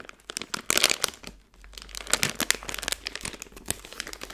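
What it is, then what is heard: Plastic candy bag crinkling. A plastic-film Skittles candy bag is twisted at the top and squeezed in a fist, producing dense, bright crinkling and crackling with sharp, quickly decaying bursts. The rustling pauses briefly near the middle, then resumes as a steady run of crisp crinkles with almost no low end.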